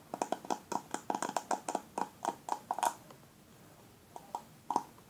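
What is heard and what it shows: Fingertips and nails scratch and brush across the plastic pin bristles of a black paddle hairbrush held in the hand. About twenty short, crisp plasticky clicks and swipes, centred around 945 Hz with bright edges, come in a quick run for about three seconds. After a brief pause, a few more scattered strokes follow.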